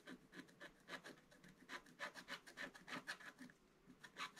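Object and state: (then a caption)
Scratch-art paper being scratched. A wooden stylus scratches the black coating off the numbered squares of a flat scratch-art paper page from a Paw Patrol advent calendar scratch book lying on a table, while the other hand holds the book. Quick, uneven strokes give a dry, bright rasping scrape centered around 1.7 kHz, each one cutting off sharply with almost no ring.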